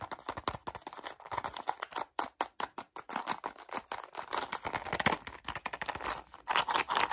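A small, hollow, closed white printed Simply Gum cardboard box is held in both hands and tapped and clicked quickly with fingertips and short nails. Dozens of rapid, dry, papery taps and clicks land in a fast, uneven stream, each dying away almost instantly. The sound is light and midrange with little low end, with a couple of brief, sparser stretches between the busier runs.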